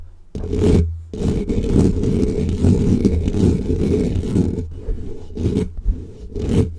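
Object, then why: Foam microphone windscreen. Fingertips of both hands aggressively scratch a black foam windscreen on a microphone. It makes a dense, muffled, rumbling scrape that is heaviest in the low end, in long uneven bursts with brief pauses. A few sharper swells rise toward the end.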